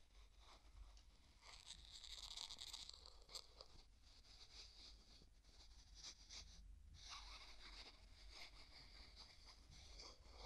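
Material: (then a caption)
Plastic. A small translucent pink plastic jar with a white plastic screw lid is held in one hand while the other hand's fingertips grip the lid and twist it back and forth. This makes quiet, crunchy, ridged rubbing and scraping sounds in irregular bursts. The sound is bright and hissy, with a steady low hum underneath.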